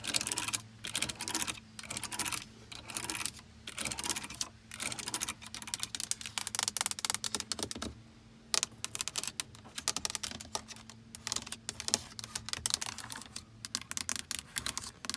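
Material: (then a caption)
Plastic. Long acrylic nails tap and click rapidly across the buttons and face of a hard plastic car stereo head unit with knobs and a screen, built solidly into the dashboard. The sharp, bright plastic clicks come in dense, uneven bursts with brief pauses, each dying away almost instantly over a faint steady low hum.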